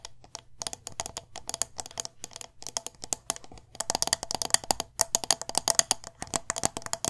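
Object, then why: Wax-filled glass jar with metal lid. Long nails tap quickly on the sides and silver metal lid of a medium glass candle jar filled with wax. A rapid stream of short, dry, bright clicks with a faint higher ring gets louder and denser about halfway through.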